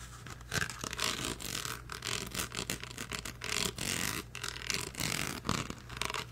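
The grille and hollow plastic body of a blue rhinestone-studded karaoke microphone with a metal mesh grille are tapped and scratched rapidly with the nails. The result is a dense stream of bright, crisp clicks and scratchy rasps in quick irregular bursts, over a faint steady low hum.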